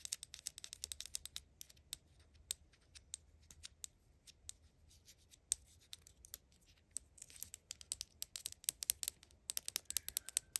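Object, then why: Small plastic toiletry bottle. A small, hollow, dark blue plastic toiletry bottle, a mini brand replica, is held in the hand and tapped and scratched with long acrylic nails. Quick, dry, bright clicks come in irregular bursts, mixed with brief scratchy rustles, especially toward the end. The sound is quiet and high-pitched, and each tap stops almost instantly.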